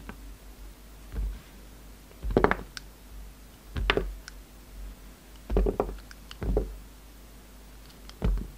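A utility knife blade cuts and shaves a palm-sized, translucent amber and white marbled bar of soap held in the hand. It makes a series of short, crisp scraping crunches and soft low thuds with quiet pauses between the strokes. Each cut ends quickly with almost no ring.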